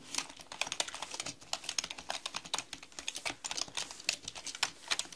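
Fast two-handed typing with long nails on a black mechanical computer keyboard with plastic keycaps. It makes a rapid, uneven stream of bright, sharp plastic clicks and clacks. Each keystroke dies away almost at once, with very little low end.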